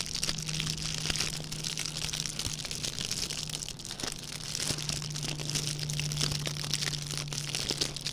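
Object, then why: Metallic plastic ribbon gift bow. A small red metallic plastic ribbon gift bow is squeezed and crinkled between the fingertips of both hands. It makes a dense, continuous stream of bright, crunchy crackles and crinkles over a faint steady low hum. The texture stays busy and crisp throughout, with a slight dip near the middle.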